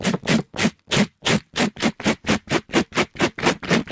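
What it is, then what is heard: Mesh scrub sponge rubbed on a microphone. A pink glittery mesh-covered scrub sponge, held in a gloved hand, is rubbed quickly up and down the side of a microphone. The result is 16 rough, scratchy strokes spanning a low thump to a bright hiss, separated by brief silences at first and then running back to back in a fast rhythm.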